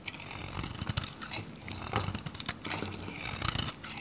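A metal utility knife shaves flakes from the face of a hand-held, solid, dry, varnished red-pink Godrej No.1 soap bar. A run of crisp, crunchy scraping strokes comes with bright, high hiss and a dull low thud under each cut. Thin shavings peel away in quick, dry bursts with almost no ring.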